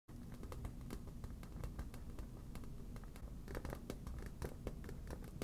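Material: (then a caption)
Vinyl. A medium yellow smiley-face inflatable vinyl beach ball, hollow and fully inflated, is held in one hand and tapped and scratched with long black natural nails. Quick, soft taps and scratchy strokes run together continuously with a low, hollow, dull thud under short bright clicks. Each tap dies away almost at once.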